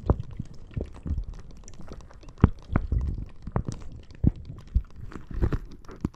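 A clear plastic bag full of red water beads is squeezed and scratched with nails and fingers. The result is soft, wet squishing and muffled crinkling, punctuated by irregular short, dull pops and clicks. The sound is mostly low and thuddy, with brief brighter scratchy ticks.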